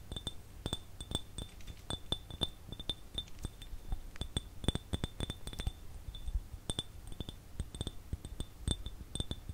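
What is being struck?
Glass jar.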